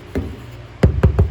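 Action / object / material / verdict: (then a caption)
tap / concrete fireplace slab / concrete / hollow. Four taps on an old concrete fireplace slab give short, dull, low thuds with almost no ring. The slab sounds hollow rather than resting on solid ground, with a hole beneath it.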